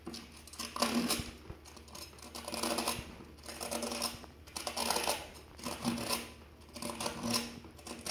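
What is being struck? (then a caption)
Plastic paddle hairbrush with pin bristles, scraped with a metal tool. A thin silver metal tool held in the fingers rakes and scrapes through the many plastic pin bristles of a wet, black, hollow plastic paddle hairbrush with a cushioned pad, held over a basin of water. The bristles are plucked repeatedly, making a crisp, bright, rapid clicking patter that swells and fades in waves.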